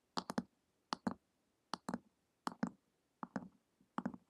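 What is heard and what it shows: Long acrylic nails tap and click on the glossy printed cover of a flat, solid hardcover book lying on a table. The sound comes in six quick clusters of two or three dry, crisp taps, with a bright click on top and a soft low thump from the cover. Each tap dies away almost at once, leaving short silences between clusters.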